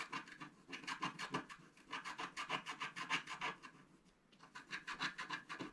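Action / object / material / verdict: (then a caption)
scrape / coated scratch-art paper card with wooden stylus / coated paper / none. A wooden stylus scratches the black coating in the upper area of a scratch-art paper card resting on a table, using repeated short strokes. The result is a quick, uneven series of bright, dry rasping scrapes, with a brief pause about two-thirds of the way through before the strokes resume.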